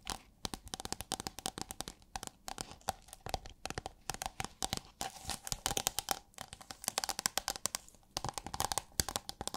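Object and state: Holographic plastic sheet.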